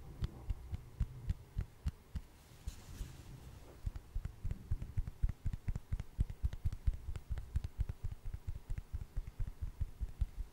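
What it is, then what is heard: Wooden log slice tapped with nails. A hand-sized solid wood slice with a bark edge is tapped with long acrylic nails close to the mic. The quick, dull, low taps come in a steady, uneven stream, each dying out almost at once with no ring, and grow denser and louder in the second half.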